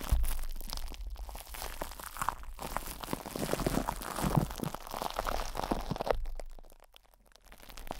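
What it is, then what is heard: Plastic-wrapped metal microphone. Both hands squeeze, cup and rub a metal microphone grille wrapped in cling film with their fingertips. The result is dense, continuous crinkling and crunching with a strong low rumble and muffled bursts. The sound drops nearly silent around the seventh second before the rubbing builds again.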